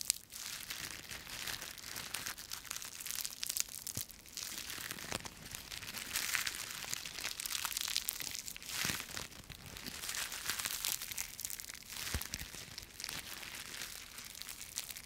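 A small handful of thin, brittle, dry yellow-green autumn leaves on a stem is held close to the mic and squeezed and crushed between the fingertips and palms of both hands. A continuous, dense crackling and crumpling fills the clip, bright and airy with little low end. Sharp crunchy snaps rise and fall in waves throughout.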